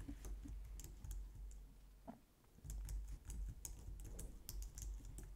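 Long painted nails and fingertips type on a low-profile white/light-grey plastic wireless keyboard resting on a glitter mat on a wooden desk. Quick, light, bright key taps sound over a steady low hum, with a brief quieter pause near the middle before the typing picks back up.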